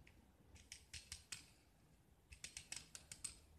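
A metal utility knife blade scrapes and shaves a small, solid white gypsum (plaster) block painted green on the outside and held in one hand, sending white chalky flakes into a pile below. Two bursts of short, crisp, bright scraping strokes, each with almost no ring, are separated by a brief quiet pause.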